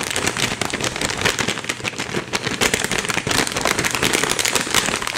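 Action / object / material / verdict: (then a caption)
shake / flexible plastic treat pouch with dry treats inside / plastic / none. A flexible plastic Temptations cat treat bag, likely filled with dry treats, is held in both hands and shaken and squeezed so the treats rattle inside. It makes a dense, continuous, bright crinkling and rattling with little low end, staying fairly steady in loudness for about five seconds.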